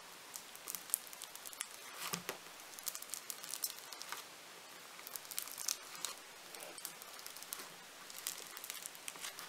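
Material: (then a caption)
Foam beads. A large, solid lump of purple foam-bead clay (floam) is pressed and pinched by thumbs with nails. It gives off a quiet, dense, bright crackling and crinkling, with rapid tiny pops in clustered bursts and short lulls between them.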